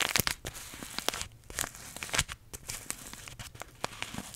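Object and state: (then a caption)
Paper tea bag sachet. A small green paper tea bag sachet is held close to the microphone and crinkled and rubbed between the fingertips. Dense, bright crinkling and papery crackles fill the clip, broken by quick sharp snaps with almost no ring.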